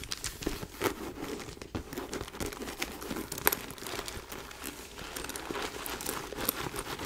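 Long nails scratch across the surface of a small white quilted faux leather backpack with a gold chain, held in the hands. The result is a continuous dry, crinkly rasp with a bright texture, broken by a few sharper ticks such as one near the middle.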